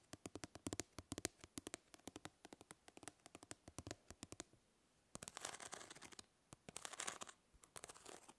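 Long nails scratch across the grid of a plastic mesh fly swatter, first as a rapid run of sharp, dry clicks, then as longer, bright scraping bursts. The quiet, crisp taps and rasps die away almost instantly between strokes.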